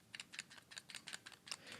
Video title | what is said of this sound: BEST BUDGET Wireless Earbuds with Active Noise Cancellation! - SoundPeats T2 Review (2021) | when doing anything really active you can hear a little bit of rattle